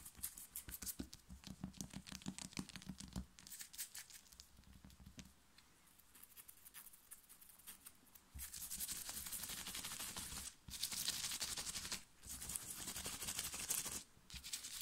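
Long nails of both hands scratch fast and aggressively across a black cotton printed t-shirt worn on the chest, making rapid, bright, raspy fabric strokes. The strokes begin as quick separate scrapes over soft low thumps, then after about eight seconds merge into a louder, denser scratching with brief pauses.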